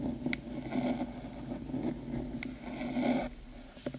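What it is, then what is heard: Fingernails scratching a metal microphone body. Long pointed acrylic nails on both hands scratch along the metal top of a black, hollow, cylindrical 3Dio binaural microphone housing, near the ear. Steady rasping scrapes with a low hollow body tone swell and fade, punctuated by three sharp, bright metallic ticks.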